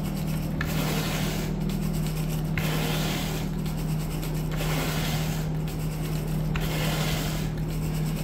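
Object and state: Synthetic carpet being raked.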